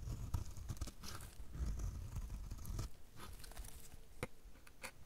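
A metal utility blade repeatedly shaves crumbly flakes off the edge of a solid, dry pink soap bar. Dense, dry crunching and scraping fill the first three seconds, then thin into sparser, separate strokes with brief bright crackles. The sound is quiet, low-weighted and close, with no ringing after each cut.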